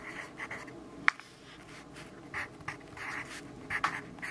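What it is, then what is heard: Pencil writing on a paper notebook page. A yellow graphite pencil writes on the page of an open grid-paper notebook resting on a wooden desk. Soft, scratchy strokes come in short bursts with a bright, papery hiss centered around 2 kHz. A sharp tick near the first second punctuates the quiet, continuous writing.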